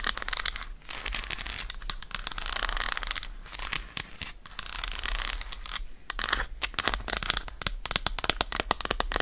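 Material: Chocolate.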